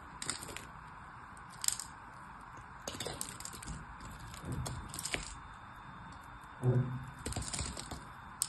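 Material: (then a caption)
Soap. A craft knife blade shaves and cuts the edge of a solid, partly carved purple bar soap held in the fingers. Short, dry scraping and crackling cuts come in bursts over a quiet background, with a duller, heavier scrape near the end.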